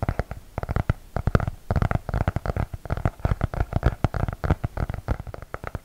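Fingertips tap rapidly along the cardboard cover and edges of a closed, medium-size blue hardcover notebook with an elastic band, held upright in both hands. The result is a dense run of short, dull, low thumps with almost no ring and no bright content.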